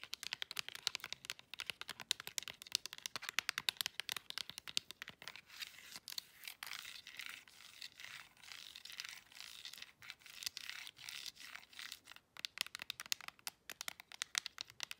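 Long acrylic nails rapidly tap and click the many rubbery buttons of a handheld plastic IR LED remote control. The result is a quiet stream of dense, sharp, bright clicks with almost no low end. In the middle stretch the clicks give way to a more continuous, scratchy rustle before the fast tapping returns.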